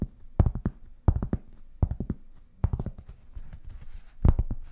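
A large, solid, round flat cork board held beside the mic is tapped and scratched with long painted fingernails. Quick clusters of soft, dull, low taps come in bursts of about four, with a faint bright scratching rustle between them.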